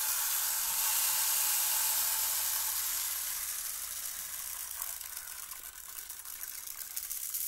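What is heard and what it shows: A hollow, clear plastic rainmaker tube with colored tiers and many small beads inside is held in the hands and tilted between horizontal and vertical, so the beads trickle and rattle down. It makes a dense, bright, hissing patter that starts full and slowly thins, with scattered tiny clicks toward the end.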